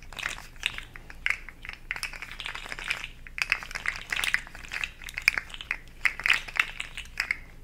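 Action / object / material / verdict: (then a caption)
tap / hollow plastic segmented slug toy / plastic / none. A hand-sized, hollow, rainbow-segmented plastic articulated slug fidget toy rests in the palm while the other hand's long nails tap and scratch along its ridged segments. The result is a rapid, uneven stream of dry, bright plastic clicks and scratchy ticks that die away instantly, with almost no low end beyond a faint steady hum underneath.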